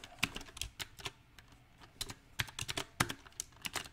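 Fingertips type on a backlit compact mechanical keyboard with round typewriter-style plastic keycaps on a silver metal frame. Sharp, bright clicks come in an uneven rhythm of quick bursts and short pauses. Each click dies away almost at once over a faint low hum.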